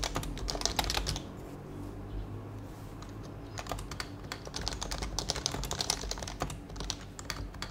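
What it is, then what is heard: Plastic mechanical keyboard. Fingertips type on a white HHKB plastic mechanical keyboard with plastic keycaps and a hollow plastic case, giving quick, bright, clacky keystrokes over a hollow low thud. A burst of typing pauses for about two seconds, leaving a quiet steady low hum, then the rapid, short, dry key presses resume and continue to the end.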